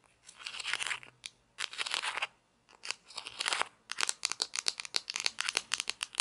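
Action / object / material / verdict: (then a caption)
tap / plastic toy pizza slice / plastic / none. Long nails scratch and tap a small hollow orange plastic toy pizza slice with painted toppings, held in both hands, working over its top and rim. Three dry, bright scratching bursts are followed by a quick run of short, crisp clicking taps, with almost no low end and no ring after each hit.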